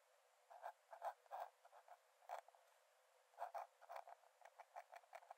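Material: Paper.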